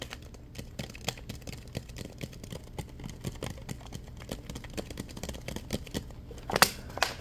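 Fingertips and nails tap and scratch the ribbed plastic of a clear, thin plastic water bottle that is partly full of water and capped. A rapid series of light, short clicks and scratches plays over a quiet background. A louder crackling burst comes near the end.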